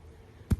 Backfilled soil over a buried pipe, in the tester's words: you hear a little thumping noise that's the pipe and you know that you're getting it down really well